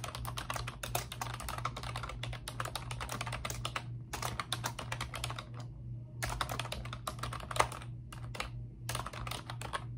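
Both hands with long pink nails type on a pink plastic computer keyboard with round, backlit typewriter-style keycaps. Rapid, bright clicking taps come in bursts separated by short pauses, over a steady low hum.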